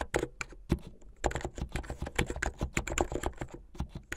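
Fingertips with medium painted nails type fast on a plastic mechanical keyboard with white and blue plastic keycaps. Rapid, uneven keystrokes clack with a low, full body and bright clicky tops. Each strike dies away almost instantly.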